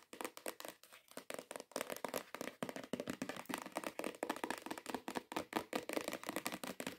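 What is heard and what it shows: Long nails and fingertips tap and scratch a long, hollow, cream-colored printed cardboard perfume gift box lying flat. A fast, continuous run of light, hollow, dry taps mixes with scratchy rustling, each hit dying out almost instantly.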